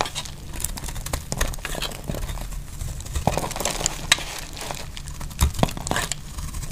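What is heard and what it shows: A metal utility blade shaves thick flakes off a solid, dry, oval yellow soap bar held in the hand. It makes a steady run of crisp, crackling scrapes with bright, sharp snaps over a low rumble, and the flakes break away in short, dry bursts.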